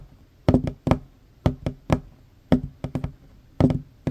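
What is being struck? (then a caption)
Wooden tabletop. Short fingernails and fingertips of both hands tap quickly across a large, solid, worn wooden tabletop. The taps land in quick clusters of dull, hollow knocks with a low resonance around 250 Hz, and each one dies away almost at once.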